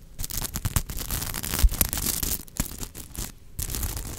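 Long nails scratch and brush across the sequin fabric of a unicorn plush held upright. The result is a dense, crackly rustle of bright ticking bursts over a heavy low rumble, with a brief quieter pause near the end before the scratching resumes.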